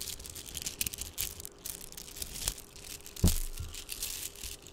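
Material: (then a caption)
Plastic. Strands of small, shiny red Mardi Gras–style plastic beads, likely hollow, are held in the fingertips and rolled, rubbed and shaken together in front of a microphone, away from its body. The result is a dense, crinkly rattle of bright clicking with a low rumble beneath it, and one louder clack stands out near the middle.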